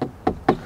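Three short, dull knocks on the center beam of the panoramic roof in a 2025 Audi Q8 55 TFSI quattro, each dying away almost at once with a midrange thud. The beam sounds solid and filled inside, a sign of good interior build quality.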